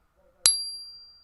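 A larger silver Maple Leaf bullion round, held by the middle, is tapped once and gives a clear, bright ring. Two high, pure tones sustain and fade over about a second. The round is confirmed as real silver, and tapping bigger coins lets the ring be heard to catch fakes.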